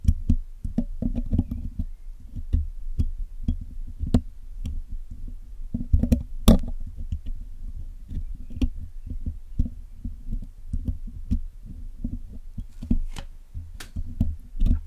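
The hollow black metal mesh grille of a Blue Yeti microphone is picked and scratched with a metal spoon-tip pick and metal tweezers while it is being cleaned. A steady stream of short, dry, thumpy taps and scrapes sits mostly in the low range, with quick decays and occasional sharp, bright clicks.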